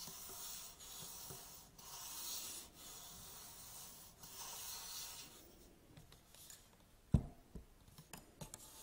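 Hands grip the hollow legs of an upright aluminium tripod and rub and scratch up and down them, producing long, steady, bright, hissing strokes for the first five seconds. The rubbing then quietens and gives way to sharp, short knocks on the metal, one much louder than the rest, with quick dry clicks trailing after.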